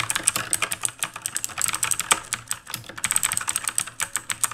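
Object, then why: Mechanical keyboard with plastic keycaps. Steady two-handed fingertip typing on a full-size black backlit mechanical keyboard with plastic keycaps, resting on a wooden desk. Quick, bright clacks follow one another in a fast, uneven stream, each dying away almost instantly, with a short lull just before the 3-second mark.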